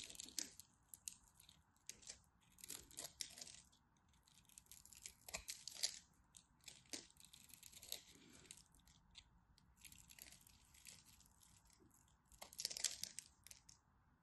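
A black craft knife scrapes and carves flakes from a solid, dry purple and white striped bar of soap held in the hand. The result is a series of bright, dry, crunchy scraping bursts with almost no ring, louder near the start, around 3 and 6 seconds, and near the end.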